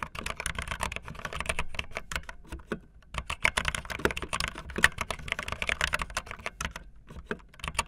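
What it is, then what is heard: Plastic mechanical keyboard. Fingertips with long nails type fast on a backlit optical linear mechanical keyboard with white and blue plastic keycaps. A dense run of short, sharp, bright clicks and clacks comes in quick bursts, with a brief pause near the middle before the typing resumes.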